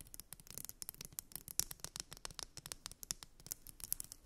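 Long nails scratch and tap along a solid purple glitter wide-tooth plastic comb resting on fluffy fabric. A quiet, rapid run of crisp, bright clicks and scratchy strokes follows, each dying away almost instantly with little low end.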